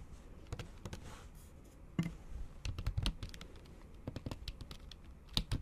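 A MacBook Pro keyboard with plastic keys under a thin pink patterned silicone cover is typed on with the tips of long acrylic nails. About nineteen short, clicky taps come in an uneven rhythm, each with a dull low thud and a brief bright tick that dies away almost instantly. A few taps land harder than the rest.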